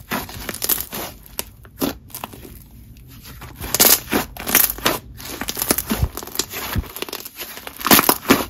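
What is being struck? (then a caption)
Butter slime. Lavender butter slime is kneaded, folded and stretched with both hands on a marble surface, giving a run of crackling, tearing squishes with sharp, bright bursts. Quieter sticky stretches sit between the louder crackles, with a faint steady high hiss underneath throughout.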